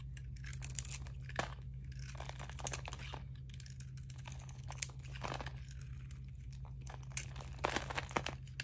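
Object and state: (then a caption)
Dry bar soap being shaved. A metal blade shaves and scrapes thin crunchy curls off a solid, hand-sized oval bar of dry peach soap with a green glittery painted coating, held in one palm, and the shavings pile up beside it. Dense, dry crinkling and crunching scrapes run throughout, with a few sharper crunches, over a steady low hum.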